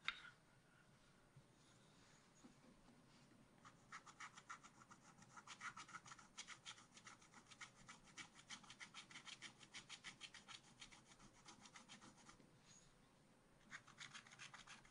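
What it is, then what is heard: Scratch art paper being scratched. A wooden stylus scratches fills into a drawing on a black-coated scratch art card in a spiral pad. The result is quiet, dry, bright rasping strokes in quick, loosely regular bursts of about three a second. The scratching pauses near the end, then resumes.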